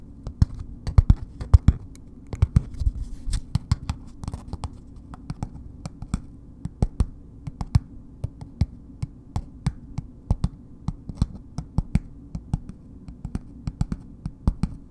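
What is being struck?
Bar of soap wrapped in paper.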